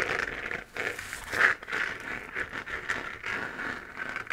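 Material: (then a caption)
Plastic. A hollow, textured 3D-printed plastic moon-lamp sphere, glowing pink, is held and scratched with long painted nails. The result is a steady run of dry, crinkly scratching strokes that swell and fade, with a bright rasp centered in the upper mids and little low end.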